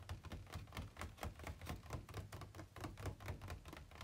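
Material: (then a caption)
Plastic. Fingertips and nails tap rapidly on the inner walls of an empty, hollow, ribbed white plastic packaging insert tray held tilted. The taps come in an uneven run, about two per second, each a short, dry, hollow knock. They have a low thud body and a faint bright click that dies away almost instantly.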